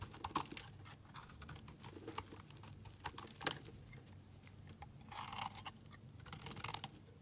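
A hand-sized solid white bar of soap embossed "Laura Colini" is held in the hand and shaved with a snap-off utility knife blade. The result is quiet, dry, crisp scraping and carving strokes with bright, short crackles as flakes come off.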